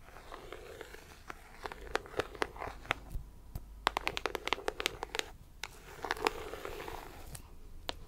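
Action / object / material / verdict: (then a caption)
tap / cardboard puzzle box / cardboard / none. Long acrylic nails scratch and tap along the top edge of a closed, printed cardboard puzzle box held in hand. Quiet, dry scratching rasps are punctuated by sharp, bright clicking taps that stop instantly, with a quick flurry of taps in the middle before the scratching returns.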